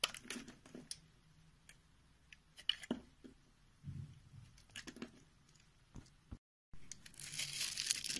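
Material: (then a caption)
Soap. A utility knife scores a grid into a rectangular, solid white bar of soap held in the palm, then scrapes the surface into crumbly white cubes. Quiet, irregular dry crackles and snaps come with soft tearing and crumbling scrapes, mostly bright and high. After a brief silence, the clip ends with a louder, steady, crisp scraping.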